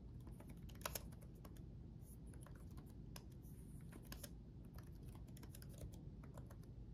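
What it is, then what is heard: Plastic laptop keyboard being typed on. Both hands type rapidly with their fingertips on the backlit chiclet keyboard of a black laptop, with plastic keycaps on a solid chassis. Quick, light, bright clicks patter over a steady low rumble, each tap dying away almost at once.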